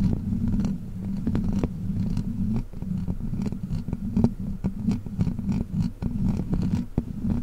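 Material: Metal mesh.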